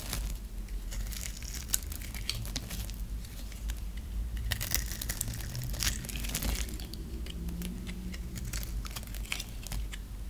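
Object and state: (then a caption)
Dry soap bar being cut. A metal blade scores a dry, solid orange and white striped bar of soap, held in the hand, into cubes and scrapes across it. The result is a steady run of crisp, crackling scrapes and bright, brittle clicks over a low background rumble.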